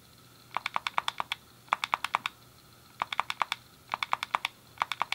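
A hand-sized, hollow grey plastic SNES game controller is clicked rapidly, the D-pad pressed with the thumb and the face buttons with fingertips. About 30 sharp, dry clicks come in five quick bursts with short pauses between, each centred near 1 kHz with a bright edge and almost no ring.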